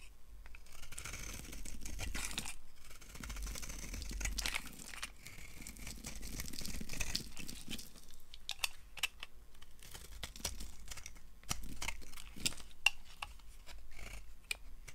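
A solid peach oval bar of dry soap is carved with a yellow utility-knife blade, sending crumbly shavings falling. Continuous scraping and crumbling is broken up by many short, sharp crackling snaps. Occasional high, crisp clicks stand out near the end.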